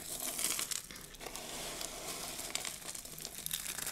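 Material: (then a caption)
Soap. Fingertips with long blue nails press and squeeze a loose heap of small, dry pink soap flakes on a dark table, crushing them. A steady, bright crinkling crunch with many small crackling peaks runs throughout, with almost no low end.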